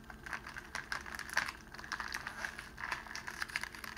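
A sheet of clear cellophane wrapping is rolled into a tube and held in the hands while the fingers pleat and crinkle its end. It makes a steady stream of dry, crisp crackles and crinkles, with sharper snaps standing out now and then. The sound is bright and papery, with almost no low end.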